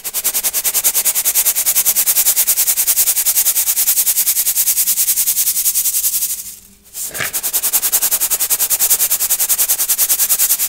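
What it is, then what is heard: Crunchy baking soda rubbed through a brass mesh sieve. Crunchy baking soda chunks are sifted and rubbed through a gold brass mesh sieve held over a clear bowl. A fast, steady run of bright, crisp crunching scrapes dominates, with a brief quiet pause and a soft thump near the seventh second before the rapid crunching resumes.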